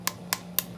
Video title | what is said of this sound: PJ Cooks Fried Squash Blossoms | they're very crispy hear how crispy they are